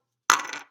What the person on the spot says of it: you can hear like there's a little like spring inside